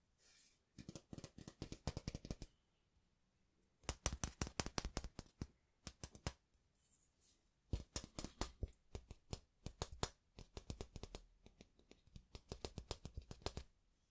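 Fingertips and nails tap and scratch along a long, flat, thin stainless steel ruler, held horizontally and then diagonally. Quick, bright metallic clicks come in four main rapid bursts separated by short pauses. Each tick dies away almost instantly, with faint scraping between them.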